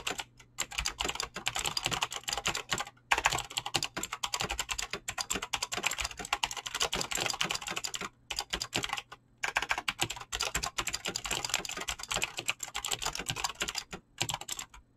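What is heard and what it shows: Fingertips type rapidly on a mechanical keyboard with clicky green switches and PBT plastic keycaps, producing a dense stream of sharp, bright clicks. Brief pauses break the typing near the start, around the three-second mark, twice near the eight-to-nine-second mark, and near the end. A faint, steady low hum sits underneath.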